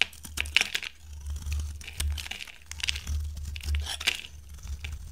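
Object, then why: Bar soap. A hand-sized, solid, dry green bar soap held in the hand is shaved and carved with a metal utility knife blade, sending curls falling off. Many quick, dry scraping cuts crackle and crinkle brightly with short sharp clicks, over a steady low hum underneath.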